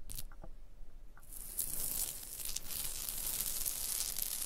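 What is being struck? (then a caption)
Stone block wall. Long blue nails scratch and tap a rough, textured stone block wall near a mortar joint. A few light taps come first, then a continuous bright, hissy scraping that grows louder and stays steady.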